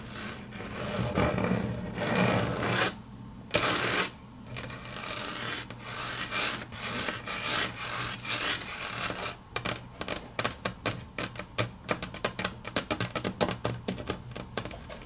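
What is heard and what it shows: Long natural fingernails scratch and rub across a large, flat, solid grey wood-grain laminate tabletop, giving a bright, rasping noise for the first nine seconds or so. The nails then switch to a quick run of crisp, dry clicks that stop almost instantly, over a faint steady low hum.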